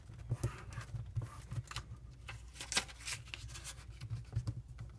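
A single thin, patterned green origami paper sheet, folded into a triangular unit, is creased and rubbed with fingertips while other folded units lie untouched nearby. Soft, irregular crinkles and dry scratchy rubs come in short bright bursts over a quiet low background hum.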